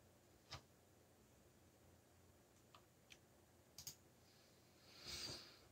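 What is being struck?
Plastic mechanical keyboard keys.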